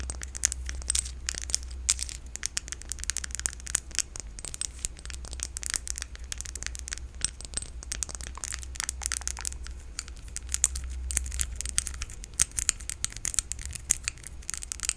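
Long nails scratch and tap across the surface of a small, solid, pale green palm-sized crystal held in the hands close to the mic. The result is a dense, continuous stream of crisp, dry clicks and scratchy crackles, bright and sharp with almost no ring, over a steady low hum.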